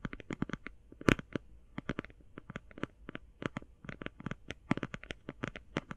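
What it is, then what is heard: Cardboard eyeshadow palette. Long painted fingernails tap fast on a closed, flat, rectangular, hand-sized cardboard eyeshadow palette, making about thirty short, dry clicks in quick uneven bursts. Each tap is crisp and bright with a soft low thump underneath and dies away almost instantly, and one tap near the one-second mark lands noticeably harder.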